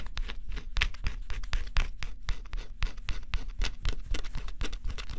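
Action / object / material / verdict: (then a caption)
scrape / coated cardboard puzzle scratched with a stylus / coated cardboard / none. A small stylus scratches the black scratch-off coating on a flat, thin cardboard jigsaw puzzle in fast strokes. Dry, bright scratching bursts come in a quick, irregular rhythm, about four strokes per second, over a faint low rumble, and each stroke stops short with no ring.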